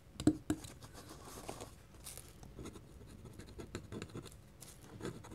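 A metal pen nib held in the fingertips scratches hatching lines across a flat white paper drawing sheet. Two sharp ticks open the clip, followed by quiet, steady scratching with small, dry bursts of stroke noise.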